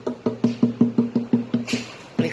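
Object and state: Acoustic guitar top with braces firmly glued.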